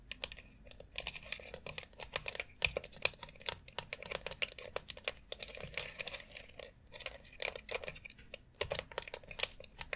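Long acrylic nails rapidly tap and scratch between the rounded nubs and around the central dome of a white plastic foot massager board. The result is a dense stream of sharp, bright, dry clicks that stop almost instantly, layered over soft, high scratchy rustling.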